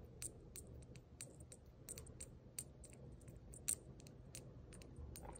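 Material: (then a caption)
Brass. A small gold-colored brass jingle bell hanging from a red plaid ribbon is held by the ribbon and shaken with the fingers. It gives a quick series of bright, high, very short metallic tinkles over a low, steady background rumble.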